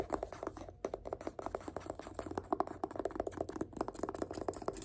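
Fingertips tap quickly along the spine of a yellow paperback book, *The Power of Habit*, held in one hand. The taps are short, dull and muffled, with no ring, and they run in a steady, uneven patter.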